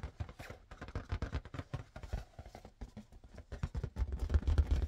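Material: Latex.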